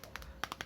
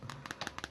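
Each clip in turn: First: solid glass phone back. Second: polycarbonate plastic phone back.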